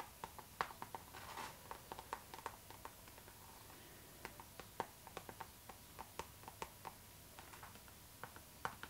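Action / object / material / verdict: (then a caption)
tap / clear PVC zipper pouch / PVC vinyl / none. Long nails tap and scratch along a clear pink PVC zipper pouch, a flexible, hollow, transparent pink vinyl bag held upright in the hands. About twenty quiet, sharp plastic clicks come at an uneven pace, each dying away almost instantly, with a brief scratchy rustle near the start. A faint steady tone around 1 kHz sits beneath the taps.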